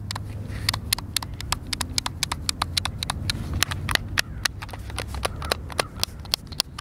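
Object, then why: Plastic game controller buttons. Fingertips and thumbs press and click the buttons of a white, hand-sized, hollow plastic Xbox controller held in both hands. A rapid, irregular series of sharp, bright clicks stops dead after each press, over a steady low hum.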